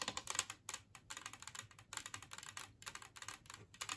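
Long nails on both hands tap rapidly across an empty, large, flat, green-glazed ceramic plate shaped like a Christmas tree. The result is quick bursts of bright, dry, clicky taps with almost no ring, separated by brief pauses.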